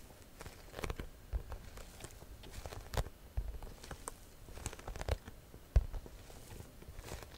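Long nails scratch the front panel of a hollow, cream croc-embossed leather or faux leather shoulder bag, making quiet, dry scratchy rustles and soft taps. Each stroke is short and dull, carrying mostly low, muffled energy with a few brief, brighter scrapes.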